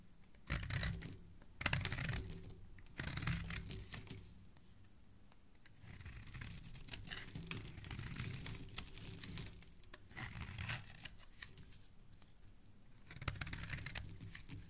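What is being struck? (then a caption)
Bar of soap scraped with a metal blade. A metal blade scrapes a palm-sized, solid green speckled bar of soap held in the hand, shaving off curled flakes. Short bursts of dry, crackly scraping alternate with quiet pauses, and a longer stretch of steady shaving sits in the middle. The sound is bright and papery with a soft low rumble underneath.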